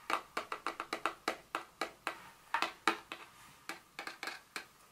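Very long fingernails tap and scratch the top of a small, rectangular, printed paperboard Dior fragrance box lying flat on a stone surface; the box is hollow. About twenty short, dry, hollow clicks with a bright tone come in an uneven rhythm, each dying away almost at once, with faint scratching between some taps.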